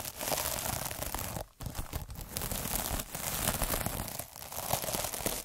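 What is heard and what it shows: A derma roller with fine metal needles is rolled by fingers across a palm-sized, soft, puffy scrub pad covered in sparkly iridescent plastic mesh. The result is a continuous, dense rolling scratch with crinkly, crackling texture spread from low rumble to bright highs, with a brief gap near the 1.5-second mark and softer dips as the strokes change.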